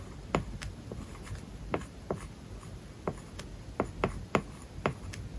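A plastic stylus writes on an iPad screen covered with a matte plastic paper-like film over the glass. Short scratchy strokes and crisp taps stand apart over a soft, low background hiss, with about eleven distinct strokes and taps.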